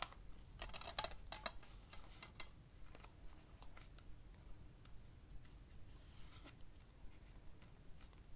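Fingertips tap and trace across the cover of a hollow plastic DVD keep case for the film "Funny Games" as it is held up and rotated to show the spine and back. Quiet, irregular light clicks and short dry taps mix with soft brushing over a low, steady rumble.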